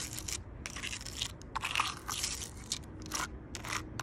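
Long purple nails tap and scratch along the rough bark of a large solid log. The result is a string of crisp, crunchy, bright bursts with short scraping passages between them, over a faint low rumble.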